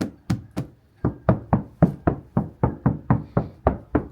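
Fifteen knocks on the bare steel back door panel of a GMC Sierra 2500 HD truck, which has no sound deadening, for comparison with the treated front door. Each knock is a short, low thump with a quick decay. The untreated panel sounds very hollow.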